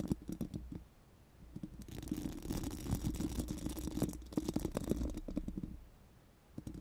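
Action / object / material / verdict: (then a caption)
scrape / steel mesh microphone grille brushed with silicone spoolies / steel mesh / none. Four pink silicone spoolie brushes are rubbed over a bare, hollow steel mesh microphone grille. The result is a dense, scratchy brushing with a low, hollow body and quick clicky bursts. It swells loudest in the middle, then eases off, with quieter lulls near the start and end.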